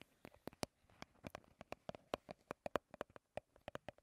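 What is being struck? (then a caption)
Soft plastic squeeze tube. A small, hollow, partly full Garnier BB cream squeeze tube of soft plastic is held in both hands and tapped and scratched with long red-painted nails. About twenty quick, sharp, irregular taps sound, each a brief hollow plastic click with a faint resonant tone around 580 Hz. Soft scratching fills the gaps, and the taps die away almost instantly.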